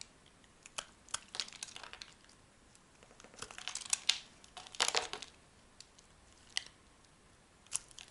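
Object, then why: Soap bar cut with a metal blade. A metal blade cuts and scrapes a solid tan soap bar, shaving off dry flakes. Quiet, bright, crisp crackles and short scraping bursts come in irregular clusters, with a denser stretch in the middle and sharp clicks near the end. There is almost no low end, and each sound stops instantly.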